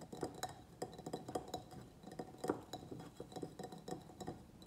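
A medium white ribbed ceramic plant pot, filled with soil and a pruned begonia, is tapped on its sides with the fingernails of both hands. The result is a quiet, irregular run of light, clicky taps with a faint glassy clink, each dying away almost instantly. They carry a low-mid tone and bright ticking edges.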